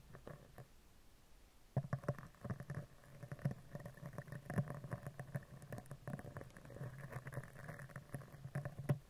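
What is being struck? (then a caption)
Steel mesh microphone grille. A spoolie brush is scratched across the top of a round steel mesh microphone head, then down its right side. After a quiet start, dense scratchy bursts and soft taps sound with a low, boomy thump under them and faint bright crackle.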